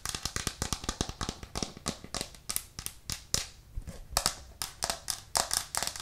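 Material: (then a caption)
Plastic. A white plastic cutting board with green edges, held up in both hands, is tapped rapidly with long nails, giving about 27 short, dry clicks with almost no ring. The taps are bright and sharp, with a hollow body around 700 Hz and uneven spacing and strength.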